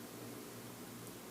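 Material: Nothing is struck.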